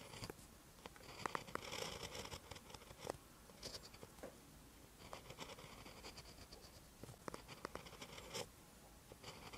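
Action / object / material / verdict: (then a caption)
scrape / pen tip on a lined paper notebook page / paper / none. A pen held in the hand writes green Hangul on a lined page of a spiral notebook, giving a continuous, quiet scratch of the pen tip on paper. Brief ticks and taps break up the scratching, and faint bright rasps rise and fade as strokes are drawn across the page.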